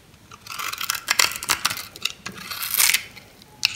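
A knife blade scrapes and crunches small sticks off a solid orange bar of soap scored into a grid and held in the hand. A run of crisp, dry crunches and scrapes rises and falls, mostly bright and high with almost no low end, each snap dying away quickly.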